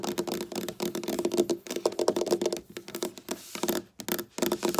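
Long black nails tap and scratch on a flat, solid dark wooden tabletop. Rapid, clicky taps with a short, dry ring and a mid-pitched tone blend with rough scratching, stopping briefly in places before starting up again.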